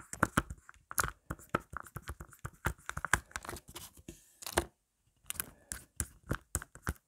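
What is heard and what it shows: Long black nails on both hands tap and scratch fast and hard on a marble-print plastic phone case lying flat. Dense bursts of sharp, dry clicks mix with scratchy rasps, each dying away almost instantly. There is a brief silent pause about two-thirds of the way through before the rapid tapping resumes.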